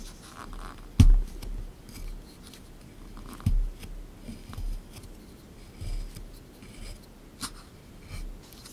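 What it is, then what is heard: Plaster block being scraped. A small chisel tool scrapes and picks at a solid plaster excavation block sitting in a tray. Two sharp, dull knocks stand out early on, and softer gritty scrapes and taps follow at an uneven pace. The sound stays low and muffled, with brief bright ticks.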